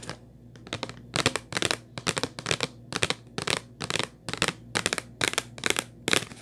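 Long white nails tap the top and edge of a hollow purple Kleenex cardboard tissue box. The taps come in quick, uneven clusters of crisp, bright, papery clicks with almost no ring. A faint steady low hum runs underneath.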